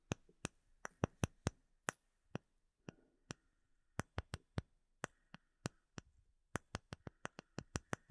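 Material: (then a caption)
Acrylic. Fingertips and nails tap and scratch a flat, solid, clear acrylic plate with embedded bubbles held close to the microphone. About 28 sharp, dry taps come in an irregular rhythm, each a bright broadband click with a low thump that dies away almost instantly. Faint scratching and a soft, thin ring fill some of the gaps between taps.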